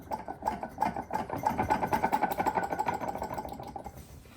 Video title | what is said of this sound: How To: Overhaul the Eaton TVS 1900 Supercharger (Jaguar Land Rover) - Guzzoline Garage | there's a little bit of free play in that. Not lots and lots, but enough.